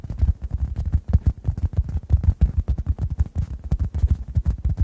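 A dry, hand-sized, rounded oblong orange synthetic foam sponge, solid and porous, is held above two microphones and tapped rapidly with fingertips. The result is a steady stream of soft, muffled, low thumps with almost no brightness, each dying away almost instantly.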